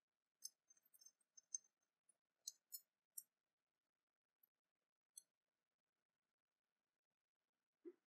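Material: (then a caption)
Metal. Long fingernails tap and click against a small copper-coloured openwork cast-metal dragon brooch held in the fingers. The result is quiet, bright, high-pitched metallic clicks in irregular bursts, with very short ring. The clip ends with a single duller, lower knock.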